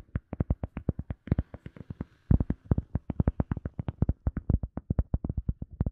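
A round, solid, soft teal EVA foam sponge disc is tapped and scratched with fingertips and nails. The result is a rapid string of short, dull, low thuds with almost no ring. A brief soft scratching texture runs between the taps near the middle.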